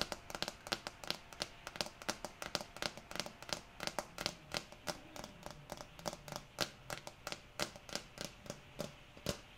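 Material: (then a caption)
Plastic. A small amber jar with a green plastic screw lid, apparently full, is held in one hand while long nails tap its lid and sides. About forty quick, bright, dry clicks come in an uneven rhythm, each dying away almost instantly. A soft, steady hiss of rain runs underneath.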